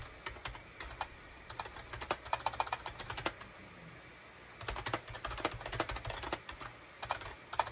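Fingertips type and tap on a full-size gray and beige SHIPADOO K600 wired USB keyboard with hollow plastic keycaps. It makes quick, dry, bright clicks with almost no ring. The typing comes in two bursts separated by a brief pause.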